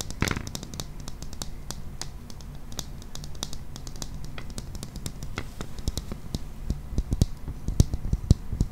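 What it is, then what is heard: Clear plastic toy ball. Fingernails tap and scratch a hollow, transparent plastic ball about the size of a hand, with a green toy inside. The result is a quick, irregular run of short, dry clicks and taps over a soft scratching rustle. Each tap has a low, thumpy body and a bright tick, and the taps grow a little louder toward the end.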